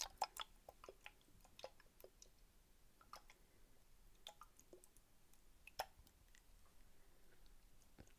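A small, hollow, clear plastic toy fishbowl with a lime-green plastic lid and small plastic toy fish inside is held in both hands and tapped with long painted nails. Quiet, sharp ticking clicks land at an irregular pace, each dying away almost instantly, with a few louder taps standing out over a faint background hiss.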